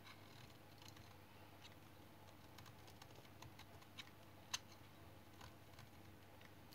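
A small metal knife shaves and scrapes the surface of a hand-sized, solid, light brown bar of dried household soap held in one hand, and the shavings fall onto a pile below. Faint, dry crackling and soft scraping patter sit over a steady low hum, with a few brief bright ticks and one sharper snap just past the middle.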